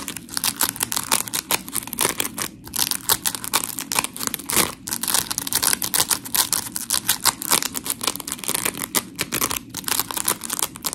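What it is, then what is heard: Polymer foam sponge block. Long pink nails scratch a white rectangular scrub sponge block of coarse polymer foam while hands squeeze it. The result is an 11-second run of dense, gritty scratching and crinkly squishing bursts, bright and airy with little low end.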